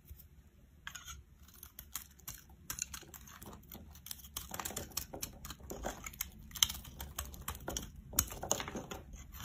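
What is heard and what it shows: A metal blade scrapes across a solid oval yellow soap bar held in the hand, shaving off crumbly flakes. Dry, crisp, bright scratching and crunching comes in irregular strokes over a faint low background, with a few sharper crackles standing out.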